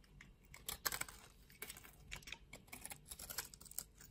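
A utility knife blade scrapes the cubes off a solid pink soap bar that has been scored into a grid. The result is a quiet run of dry, crisp crackles and scratchy clicks, bright and brittle with very little low end, each snap dying away almost instantly.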